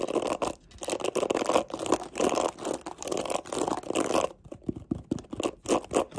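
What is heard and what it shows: Long nails scratch and flick the black plastic bristles of a mint plastic detangling hairbrush, making dense, rustling bursts of crackly scratching. After about four seconds the sound turns sparser as the back of the brush is handled, with separate short, dry taps and clicks.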